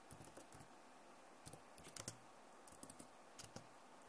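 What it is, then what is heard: Plastic laptop keyboard. Both hands type on a backlit plastic laptop keyboard with fingertips and nails, producing quiet, irregular bursts of short, dry key clicks. Each tap pairs a bright tick with a soft low thump, and the clicks cluster in uneven runs over a faint steady hiss.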